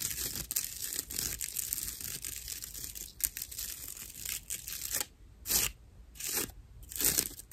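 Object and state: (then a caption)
Natural loofah sponge scratched. Long nails scratch the rough outer surface of a dry, hollow natural loofah sponge, giving dense, bright, fibrous rasping and crinkling. After about five seconds the scratching breaks into a few separate, louder swipes with near-silence between them.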